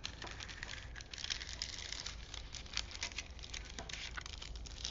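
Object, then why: Paper film strip. Fingertips rub and press along a long printed paper film strip from a vintage toy movie reel, partly unrolled from its small spool and laid flat on a wooden table. Soft, bright crinkling and papery rustles patter on continuously, with many quick, dense crackles throughout.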